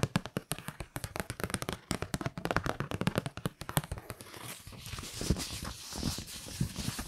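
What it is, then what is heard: Kraft paper card. A kraft-paper Christmas card is held in both hands while fingertips and long nails tap and scratch the paper. For about the first four seconds there is a rapid flurry of short, dry, close taps with low thumping weight. The sound then shifts to a softer, continuous scratching rustle with a bright, papery hiss.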